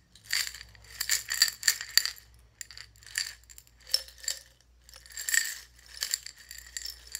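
A small clear glass jar with its lid off, partly filled with buttons, is held in both hands and shaken or rolled so the buttons rattle against the glass. Bright, high clinks and rattles come in short bursts with quiet pauses between them, over a faint low hum.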